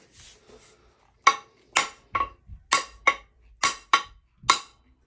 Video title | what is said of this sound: Wedge banger for a working man | It's got a little bit more of a ring to it. Hear that? And it's got more bounce to it. Tells me it's down.